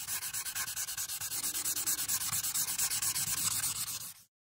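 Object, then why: Paper sheet on a clipboard, marker tip. A marker tip scrubs along the bottom-right border of a flat paper coloring sheet resting on a clipboard. About 35 quick, evenly spaced strokes produce a bright, papery hiss. The strokes grow slightly louder midway before stopping abruptly.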